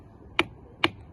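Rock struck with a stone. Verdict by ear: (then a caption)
Dull. An ordinary rock, next to a stone that rings like a bell, is struck twice for comparison. It gives two short, dry clicks with no ringing tail. This is the normal dull sound of stone, not a bell-like tone.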